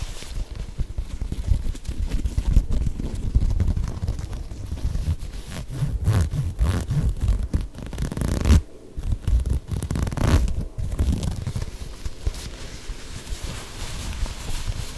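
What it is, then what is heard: Knit fabric sneaker. Long nails scratch over the knit upper and sole of an empty lime green and grey knit textile sneaker held upright. The result is a dense, continuous low scratching rustle with little high sound, pausing briefly near the middle before resuming.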